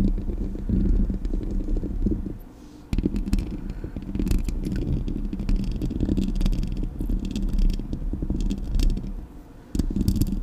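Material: Metal.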